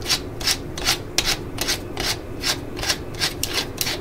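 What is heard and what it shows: Long nails rub and scratch the ribbed chuck and clutch ring of a yellow and black plastic cordless drill held close, tapping the housing with ratchet clicks. The result is a loose rhythm of bright, dry scratching bursts, roughly two or three per second, over a faint low hum.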